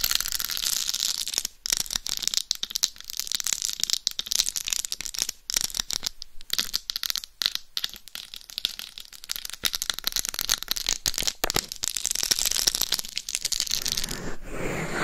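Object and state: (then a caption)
Rhinestone-covered dummy head microphone. Very long nails scratch across the top and the rhinestone-studded face of a life-size, mannequin-style binaural dummy head microphone, a hollow shell covered in small glued plastic rhinestones. The result is a dense, bright, crackly scratching with rapid clicky ticks and brief pauses. It ends in a softer, lower rubbing sound.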